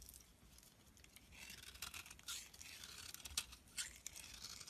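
A knife blade carves crisp, thin slices off one edge of a solid beige soap bar held in the hand. The result is quiet, bright, dry scraping and crunching, with a few sharper, louder cuts standing out at irregular intervals.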